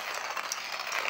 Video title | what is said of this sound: Manual Coffee Bean Grinder Review, really more for travel or RV Camping | first you shake it you hear that you still have beans in there until you get the feeling for it